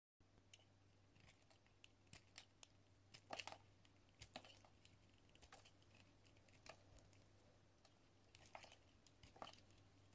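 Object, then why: Soap bar scraped by a metal blade. A metal utility-knife blade scrapes across a solid pink bar of soap with embossed lettering held in the hand, shaving thin curls off the surface. Short, crisp scratching strokes come in uneven bursts, with a bright, dry texture over a steady low hum.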